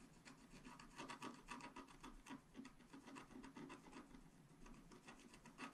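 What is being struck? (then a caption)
Coated scratch art paper card scratched with a wooden stylus. A wooden stylus scrapes the coating off the top-left corner of a flat scratch art paper card lying on a table, in fast strokes. The result is a quiet, continuous run of dry, raspy scratching that swells and fades unevenly with each stroke, with a gritty mid-range body and a light bright hiss.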